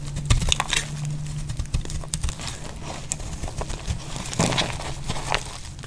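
A metal blade scrapes and cuts flakes off a solid, dry pink soap bar held in the hand. The result is a run of short, crisp scratches and crackles with bright, sharp edges over a steady low hum.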